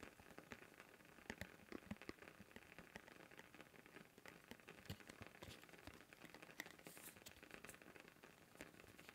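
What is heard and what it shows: A thin, round blue plastic lid about 10 cm across, removed from its canister and held up in both hands, is tapped and scratched along its rim and surface with fingertips. The result is a quiet, dense stream of crisp, bright crackles and short ticks, with occasional sharper taps that stop almost instantly.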